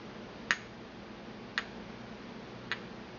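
A porcelain pestle is tapped and swirled inside a small, empty white porcelain mortar held in the palm. Three short, bright clicks ring out about a second apart, each fainter than the last, over a low steady hiss.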